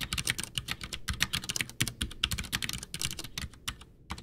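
Both hands type with fingertips on a full-size white plastic Ducky One 2 mechanical keyboard with Cherry MX Brown switches, backlit, its hollow case resting on a desk. A rapid, dense run of sharp, bright key clacks with short hollow low thumps underneath, each press dying away almost instantly.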